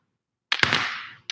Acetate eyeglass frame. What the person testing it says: You hear that? Like it sounds solid. Day and night.